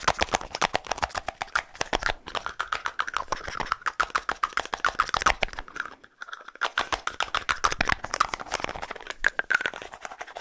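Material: Plastic.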